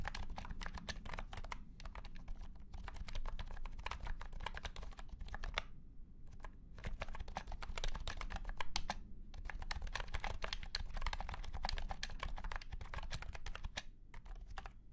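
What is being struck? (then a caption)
Plastic keyboard with round plastic keycaps. A white and pink cat-shaped keyboard with round plastic keycaps in a hollow plastic case is typed on with the fingertips of both hands. Fast, dense runs of short, clacky keystrokes come in bursts, with brief pauses near the 6- and 9-second marks. A steady low rumble sits underneath throughout.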